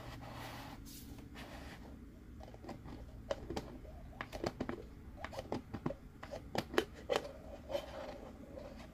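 A hollow white plastic Groot cup is held in both hands while fingers twist and rub its plastic screw-on lid against the threaded rim. Soft, dry scraping and creaking are broken by a string of short, sharp plastic clicks and ticks over a faint low hum. The clicks grow denser and crisper toward the end.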